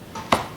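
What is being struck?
Wooden speaker cabinet.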